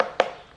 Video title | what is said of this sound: 5 Vegan Meals I’m Obsessed With Right Now - Simple, Tasty Recipes | you hear that hollow sound that's when you know it's a good one